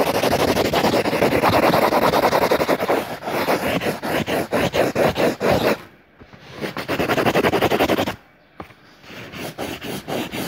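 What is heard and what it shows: A yellow crayon held in the fingertips scribbles and rubs densely inside a drawn circle on a lined paper notebook page. Rapid, raspy back-and-forth strokes run in quick bursts, with brief pauses near the middle and toward the end before the scribbling resumes more softly.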